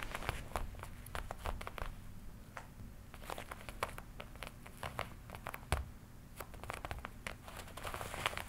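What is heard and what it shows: Fingers scratch and rub the black leather panel near the shoulder of a worn black and red leather jacket. Quick, dry crinkling scratches and short bright crackles come in rapid bursts over a steady low rumble.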